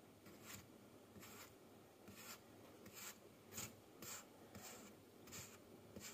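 A thin wooden-handled stick tool cuts and scrapes down through a solid, fist-sized block of packed yellow kinetic sand sitting as a layered mound on a white table. Soft, bright, gritty rasping strokes repeat at an uneven pace over a low hiss. Slices crumble off onto the pile.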